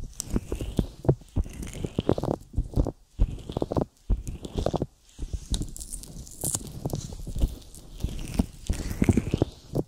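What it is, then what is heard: Silicone microphone ear coated with petroleum jelly. Fingertips tap on a silicone binaural microphone ear coated with petroleum jelly and pull away, making a dense run of sticky, wet taps and smacks. The sound is close and bass-heavy with short, fast-decaying hits, broken by brief pauses near three, four and five seconds before it resumes.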